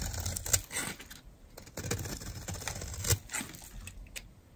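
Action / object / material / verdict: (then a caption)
scrape / bar of soap carved with a metal blade / soap / none. A metal blade carves and scrapes the edge of a solid, dry green-and-white striped bar of soap. The result is a run of short, crisp scraping cuts with bright, crackly detail and soft low rumble underneath, with sharper flicks near the start and around the three-second mark.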